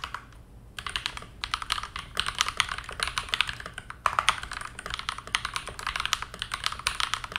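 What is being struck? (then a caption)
Plastic mechanical keyboard. Both hands type continuously on a modded TM680 hotswap 65% mechanical keyboard with KTT Mint linear switches, a teal plastic case and dark plastic keycaps, resting on a desk mat. After a brief quiet start, a dense stream of short, bright plastic clacks with a mid pitch around 1.2 kHz follows, each keystroke dying away almost instantly, with a momentary lull near the middle.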